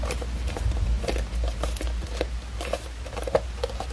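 Long acrylic nails tap and scratch the paper-covered board cover and spine of a small red hardcover book held upright. Quick, irregular, dry clicks and brushing scratches with a mid-pitched knock come in a loose patter, each dying away almost instantly. A steady low rumble sits underneath.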